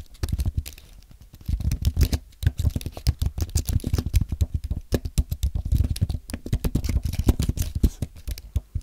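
Fingertips type on a compact white aluminium and plastic Apple keyboard, producing a steady stream of quick, soft keystrokes after a brief lull near the start. Each press is a short, dry, muted tap with a low thump and almost no ring.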